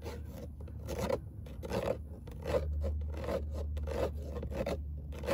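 Long nail tips scratch back and forth across a fine-mesh perforated metal speaker grille set in a car door, with a hollow space behind it. Uneven raspy, filing-like strokes come in quick bursts with a bright hiss, over a steady low hum that runs throughout.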